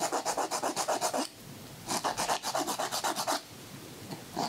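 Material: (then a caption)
Emery board. A white emery board files a man's fingernail while his hand is held, making quick, repeated rasping strokes. Two bursts of rhythmic scratchy strokes, with a bright papery hiss over a midrange rasp, are separated by a brief quiet pause, and a final stroke begins at the end.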